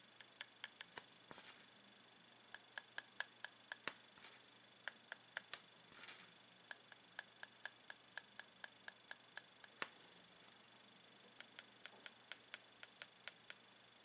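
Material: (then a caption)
Chocolate. Two unwrapped milk chocolate Santa figures, likely hollow and about 15 cm tall, lie side by side on a ceramic plate and are tapped with the tip of a blue plastic pen. The result is a long, irregular series of quiet, sharp, bright ticks that die away almost instantly, with a short pause near the end before the tapping resumes.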